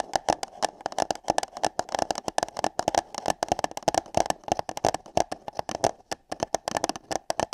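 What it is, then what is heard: Paper cup tapped and scratched. Long nails and fingertips tap and scratch on hollow paper cups placed over a microphone. Rapid, irregular clicky taps with a hollow mid-range tone around 700 Hz and bright edges follow one another in quick succession, with soft scratching between them. Each tap dies away almost instantly.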